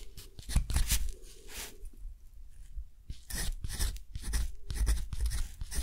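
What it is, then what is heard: Textured cotton paper being written on with a metal nib. A metal dip-pen nib is drawn across a thick, rough-textured cotton paper sheet lying flat, writing in close-up. Short scratchy strokes come in bursts with bright, hissy texture over a low rumble, and there is a quieter pause near the middle before the scratching resumes.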